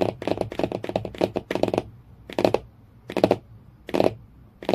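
Fingernails tap quickly on the cardboard cover of a hardcover book, making dry, clicky taps centered in the midrange. A dense run of rapid taps lasts about two seconds, then gives way to short, separate bursts of tapping with quiet gaps between them.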